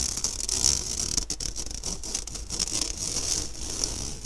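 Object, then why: Stainless steel mesh sieve. Fingernails scratch and drag across an empty, round, fine-mesh stainless steel sieve held upright. The result is a steady, bright, hissy rasp concentrated in the high range, broken by quick ticking scrapes as the nails catch the wires.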